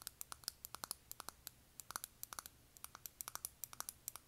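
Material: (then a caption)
Plastic. A small, closed, hollow octagonal makeup compact of metallic silver-finished plastic is held in the hands and tapped and scratched on the lid with long nails. It gives about thirty quick, bright, dry clicks with no ring, some clustered and some spaced, with faint scratching between them.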